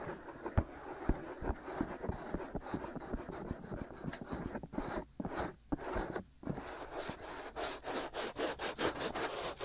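Fingertips and short nails of both hands scratch and rub the hollow white silicone ear pieces on both sides of a black binaural microphone. A dense, continuous stream of close, muffled scratching and rubbing is heard, full of soft low thumps and crackly texture, with a few brief quiet gaps around the middle before the quick strokes pick up again.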